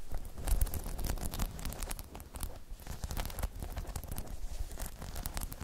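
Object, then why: Spiky rubber half-dome balance pod. Long chrome nails tap on a hollow, spiky rubber half-dome balance pod, then grip and scratch along its sides. It makes a dense run of dry, quick taps and scratchy rustles, heavy and muffled in the low end with brief bright clicks and almost no ring.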